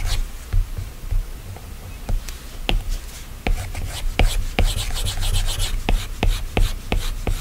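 A plastic Apple Pencil tip taps and scratches across the flat, solid glass screen of an iPad while drawing, and fingertips touch and swipe the glass. Short, sharp taps with quick-fading clicks stand out over a steady, soft rubbing and scratching hiss, with a dull low-end thump under each tap. The strokes grow busier and brighter in the second half.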